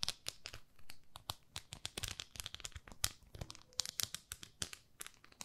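Long nails scratch and tap the textured grid face of a small, flat, palm-sized pink plastic facial cleansing brush pad held in both hands. The result is a dense run of quick, bright, crinkly scratches and sharp clicks with almost no ring, each sound dying away at once.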